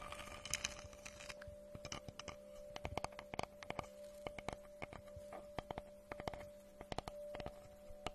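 Long nails tap and scratch across the surface of a round, solid wooden tree slice with a bark rim, held in both hands. Quick, dry, sharp clicks come in irregular clusters over soft, bright scratching, with a faint steady hum underneath.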